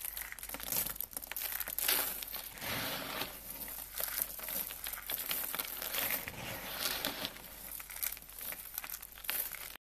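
Bare hands scoop, squeeze and rub a large pile of small, solid shavings of dried yellow and pink soap on a burlap mat, crushing the flakes. A dense, dry, bright crunching and crinkling runs throughout, with many short crackles and almost no low end.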